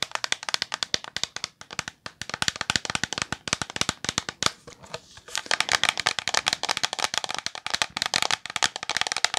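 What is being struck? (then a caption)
Plastic shampoo bottle. A medium-size green translucent plastic OGX shampoo bottle with a gold cap, hollow and full, is tapped with long polished nails in rapid, sharp clicking bursts. There are about 60 bright, dry taps with almost no low end and no ring, plus a brief softer patch of scratchier tapping near the middle.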